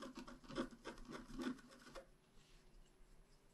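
A pointed wooden stylus scratches across a flat, black-coated scratch art card about A4 in size, making a series of dry, raspy scraping strokes. The strokes sit mostly in the low-mid range and repeat at an uneven pace for about two seconds. The scratching then fades to a faint, quiet rubbing.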